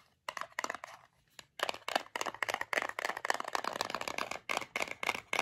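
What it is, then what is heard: Metal tin of gummies. A small, closed, printed metal tin of gummies is turned in the hands and tapped with long fingernails on its sides and label. Quick, bright, clicky taps come in dense bursts after a brief quiet start, each dry with almost no ring, with faint scratchy crinkle between them.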